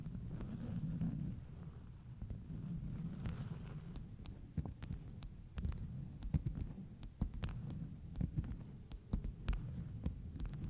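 Long nails tap and scratch the surface of a stack of flat beeswax-coated cotton food wraps with a bee print. A low, muffled rumbling scrape runs throughout, broken by many short, sharp clicks that reach up bright and stop almost instantly.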